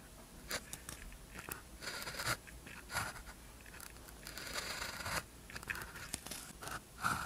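A blue ballpoint pen tip scratches across a thin white practice sheet with a red grid, lying flat on a desk, while writing characters. Quiet, dry, bright scratching strokes come in short bursts, broken by brief taps and pauses as each character is formed.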